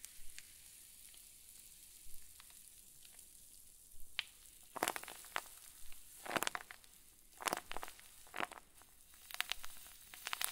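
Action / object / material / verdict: scrape / plastic zip bag filled with soft stuffing / plastic / none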